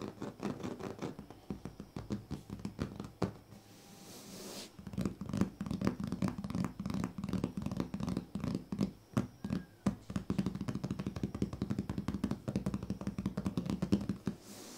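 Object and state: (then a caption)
Woven plastic sleeping mat. Fingertips of both hands tap and scratch the surface of a large, flat woven plastic strip sleeping mat. The result is a rapid, irregular stream of soft, dry scratches and taps with a low, muffled body and very little brightness. The sound dips to a quieter rub around the four-second mark, then returns louder and denser.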